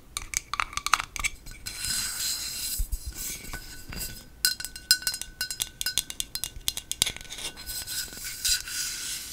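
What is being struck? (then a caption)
Aluminium aerosol spray can. A medium-size, hollow aluminum aerosol can of Batiste dry shampoo, held in both hands, is tapped and scratched with long acrylic nails. Quick, bright clicking taps alternate with stretches of hissy scratching, over a faint steady metallic tone around 1.2 kHz.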